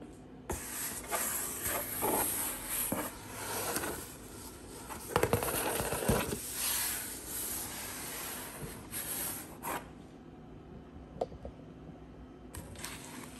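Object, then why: Corrugated cardboard box. Long acrylic nails and fingertips tap and trace across the printed side and top of a large, hollow HelloFresh corrugated cardboard delivery box, its contents not visible. Soft scratchy scraping strokes mix with light hollow taps and a few sharper clicks, some resonating briefly in the box.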